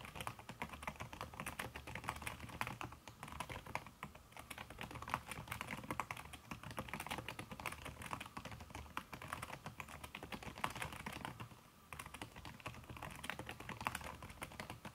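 Fast, continuous typing on a backlit aluminium laptop keyboard fitted with a red silicone key cover, struck by fingertips and long red nails. A dense stream of soft, short taps carries a bright, clicky edge and a muted low thud, with brief pauses in the rhythm.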